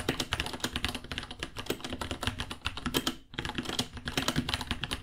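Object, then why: Plastic mechanical keyboard. Both hands type with their fingertips on a small white $60 66-key mechanical keyboard with Gateron Brown switches, white plastic keycaps, a hollow case and pink underglow, resting on a white desk. A fast, steady stream of short, bright, clacky key taps with a hollow low thock underneath continues throughout. The taps pause briefly just past three seconds, then resume.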